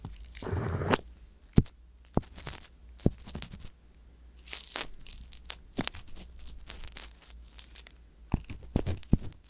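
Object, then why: Silicone ear with wooden ear pick. A wooden ear pick scrapes inside the ear canal of a soft silicone ear mounted on a white box binaural microphone. Close, dry scratching and crackling rustles are broken by sharp clicks and taps, with a low steady hum underneath.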